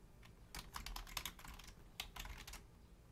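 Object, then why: Plastic membrane computer keyboard. Both hands type on a black plastic Logitech full-size membrane keyboard with a hollow casing, resting on a wooden desk, striking the keys with long painted nails and fingertips. Rapid, bright clicky keystrokes come in two quick bursts separated by a short pause, over a faint low hum.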